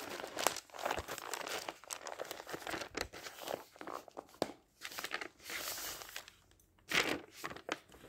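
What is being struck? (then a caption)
Thin paper pages of a thick dictionary. The thin pages of a thick paper dictionary, held open, are flipped quickly by hand. The result is a run of crisp, bright papery swishes and crinkles with almost no low end, broken by brief quiet gaps between page turns.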